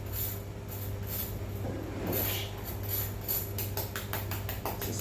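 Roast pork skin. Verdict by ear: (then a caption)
Crispy. Roast pork skin, cooked for about one and a half hours, is tapped to test it, giving a quick series of light, dry taps over a steady low hum. The skin is crispy and done.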